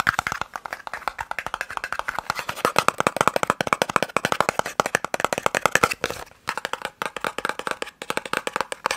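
A small, hollow white and red printed cardboard eye-drop box is held in the fingers and tapped rapidly with fingertips and nails. About 68 quick, dry, hollow clicks sit around 1.3 kHz, with brief pauses near 6 and 8 seconds. Each tap dies away almost instantly.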